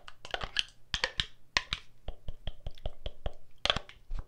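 A filled pink plastic body mist spray bottle with a gold cap is turned in the hand while long nails tap and scratch it. Quick, sharp clicks and scrapes come one after another over a low, steady hum.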